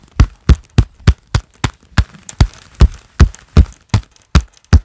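Gloved palms in a pair of black leather gloves, worn on both hands, clap flat together in a steady series. Each clap is a short, dull, low thump with a quick fade and almost no bright edge.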